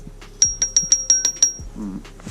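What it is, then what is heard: Metal engine part, not plastic. During timing-belt reassembly on a Renault Scénic 1.6 8-valve, a metal engine part is tapped seven times in quick succession. Each strike gives a short, bright, high-pitched metallic ping that fades fast. The clear ring confirms the part is metal, not plastic.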